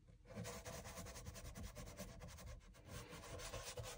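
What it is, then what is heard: Leather shoe sole being brushed. A small bristle dauber brush works cream into the solid leather outsole of a loafer held upside down in one hand, using circular and back-and-forth scrubbing strokes. The result is a steady, dry, raspy rubbing with a soft low body and bursts of bright bristle hiss that rise and fall with each stroke, with no pauses between strokes.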